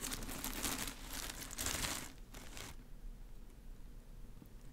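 A bunch of green plastic artificial grass leaves held close to the mic is rubbed, crinkled and brushed with long nails and fingers. Dense, bright crinkling and scratchy rustling come in bursts over the first 2.7 seconds, then stop, leaving a faint low hum.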